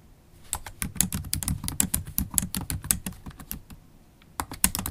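Typing with long stiletto acrylic nails and fingertips on a MacBook Pro laptop keyboard with low-profile black plastic keys in a silver aluminum body. Rapid, sharp clicky taps with bright nail ticks run in a steady burst, pause briefly near the end, then resume.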